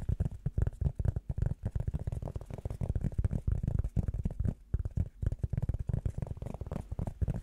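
A flat, round blue rubber foam disc held in the hands is tapped and scratched with the fingertips and nails. The result is a rapid, steady run of soft, dull, low thumps, with almost no ring after each one.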